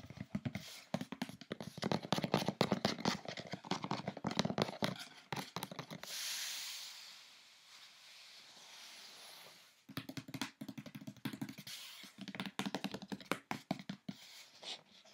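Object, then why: Corrugated cardboard box. Fingertips and long nails tap quickly on the top edge and raised lid flap of an opened brown corrugated cardboard box, making a rapid stream of dry, hollow taps. Midway the tapping stops for a few seconds of soft, steady, bright hissing, then the quick tapping resumes until the end.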